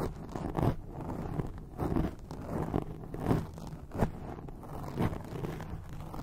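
Long acrylic nails scratch a grey foam microphone windscreen, producing dull, crunchy rustling and scraping. The strokes come in uneven bursts about once a second, heavy in the low end with almost no bright content.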